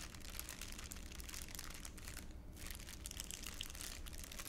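A thin, empty, hand-sized clear ULINE plastic bag is held in both hands in front of the chest and crumpled and crinkled with the fingertips. It makes a steady, dense stream of bright, crisp crackles over a constant low rumble, with one brief lull partway through.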